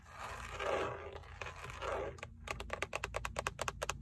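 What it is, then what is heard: Plastic steering wheel airbag cover. Long acrylic nails scratch and then tap the textured black plastic airbag cover at the center of a Toyota steering wheel, which has a chrome emblem. Two slow, broad scratching swells give way to a quick run of short, dry, bright clicks from the nail tips and fingertips, each dying almost instantly.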